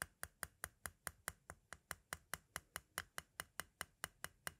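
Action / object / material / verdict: tap / plastic audio cassette shell / plastic / none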